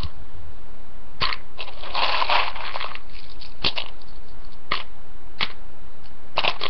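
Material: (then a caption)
Dry pasta. A hand rummages through a poppy-print ceramic bowl full of uncooked, dry rotini pasta, grabbing and dropping the pieces. The result is crunchy, rustling clatter in repeated bursts, with a dense stretch of sound near the start.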